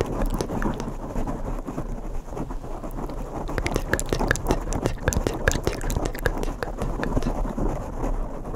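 Bare fingertips and short nails scratch the surface of two identical black foam microphone windscreens. The result is a dense, close-up rustle of crackling scratches and quick soft pops over a heavy, muffled low rumble, with little high-end brightness.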